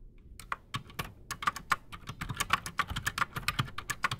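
Both hands type fast with their fingertips on a solid, full-size black Redragon Shrapnel K589 mechanical keyboard resting on a desk, fitted with silent Outemu Silent Sky switches and Razer PBT plastic keycaps. A rapid run of short, dry clicks and muted thocks is heard, each keystroke crisp with a bright top and centred around 1 kHz, dying away almost instantly over a soft low thump.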